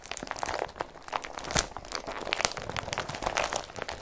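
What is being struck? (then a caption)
Woven polypropylene carrier bag. An empty blue woven polypropylene IKEA BRATTBY carrier bag is scratched, pinched and crinkled by fingers. The result is a dense run of quick, dry, crackly rustles and crunches with bright, high texture and very short decay.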